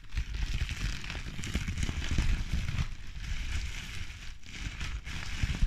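A bundle of clear plastic bubble wrap with air-filled bubbles is pinched and popped with fingertips and nails, crushed and crinkled in the hands. A steady, dense crackling and crinkling runs throughout, with short sharp pops over a heavy low rumble and a thin bright hiss.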